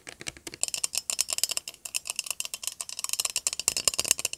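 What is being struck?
Metal aerosol spray can.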